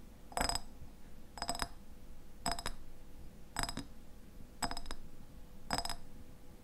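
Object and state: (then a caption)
Glass jar tapped with fingernails. Fingernails tap the sides of a medium clear glass jar with a white lid, partly filled with pale contents. Six short bursts of quick clicking taps sound at a slow, uneven pace, each with a bright glassy ring centered near 700 Hz that dies away almost at once. A low, steady background hum runs between the bursts.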